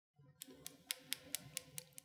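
Painted fingernails with a fully dry, hard top coat of nail polish, five minutes after application, are tapped together eight times. Each tap gives a sharp, bright click with no ring, over a faint low background. The polish shows no smudging.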